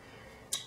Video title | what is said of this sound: Outrageous October- Urban Decay Naked Skin Foundation Review and Application | there's something in there that you're supposed to shake